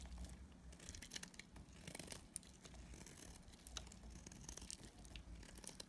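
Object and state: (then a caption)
Dry soap bar being shaved. A utility knife blade shaves flakes off a solid, dried pink and purple striped soap bar held in the hand. The sound is a steady, dry, crinkly scraping with bright crackles and occasional sharper snaps over a faint low rumble.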